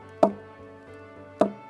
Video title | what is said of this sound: Jamaica Magazine 05 07 2020 | When you knock it like this with a stone, it gives you sound. Why it gave you that sound? Because it's hollow inside.